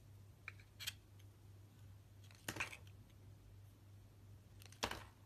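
A utility knife blade shaves thin slices off a solid red translucent glycerin soap bar held in both hands. Short, crisp, bright scraping cuts come in a few separated bursts over a quiet, steady low hum.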